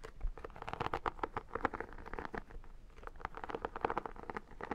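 Long dark nails and fingertips scratch and tap the holographic, embossed iridescent vinyl cover of a square photo album, a hollow book-like object held by hand with a visible paper page edge. The result is a quick, uneven run of dry, crisp clicks and scratchy taps, centered in the midrange with a slight hollow body and almost no ring after each hit.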